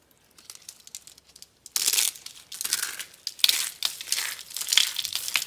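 A palm-sized, cream-colored rose of rolled dry soap curls with hollow, layered petals is held in both hands and crushed and crumbled by fingers into flakes over a pile of soap shavings, with other soap roses sitting nearby. Faint, sparse crackles give way to loud bursts of dry, crisp crinkling and crunching that are bright and high with no low end. The crumbling comes in repeated waves as the petals break apart into flakes.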